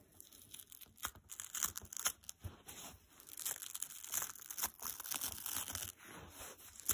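A dry blue foam kitchen sponge has its green scour layer ripped away by fingers, then the foam is pinched. Crisp, crackly tearing and crunching come in quick, bright bursts, mostly high-pitched, with no ring after each one.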